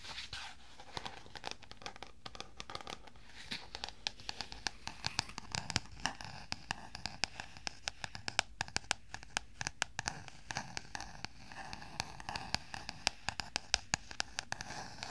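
A medium-size black spiral-bound notebook with a stiff cover is held beside the mic while fingertips tap and scratch its cover and spiral edge. Sharp, dry clicks and crackly scratches come in rapid, uneven bursts over a soft, bright rustle. Each sound stops at once with no ring.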